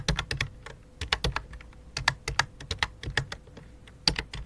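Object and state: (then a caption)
Plastic computer keyboard. Fingertips type on the keys of a full-size white and light-blue plastic computer keyboard with a hollow plastic body. Quick, dry, bright clicks with short low thumps come in bursts and pauses, each dying away almost at once.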